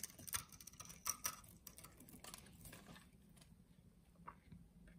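A utility knife blade shaves small pieces off the surface of a solid translucent yellow soap bar held in the hand. It makes quiet, crisp, bright scraping clicks that come thick in the first three seconds and then thin out. A faint low hum continues underneath.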